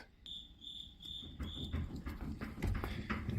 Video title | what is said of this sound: 2010 Ford Taurus Rack and Pinion Replacement with Home Alignment | you can hear it if you move the wheel back and forth